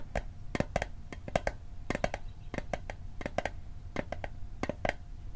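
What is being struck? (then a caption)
Small metal mint tin. A small, hollow metal Altoids mint tin, held on its edge, is tapped with fingertips and nails in a quick, uneven rhythm of about twenty taps. Each tap is a crisp, bright click with a brief metallic ping around 650 Hz that dies away almost instantly.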